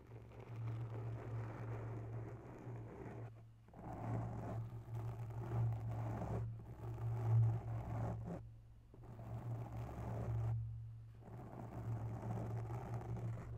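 Long natural nails slowly scratch a porous grey foam microphone windscreen, giving five soft, muffled scratching and rustling passes separated by brief pauses. A steady low hum runs underneath the whole time.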